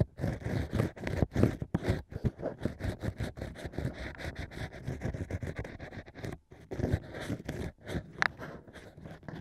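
A single bamboo ear pick, held with painted nails, scrapes and pokes inside the hole of a hollow cork ring set in a plush mic ear. The result is a steady run of close, dry, low scratching and muffled rubbing, broken by short pauses.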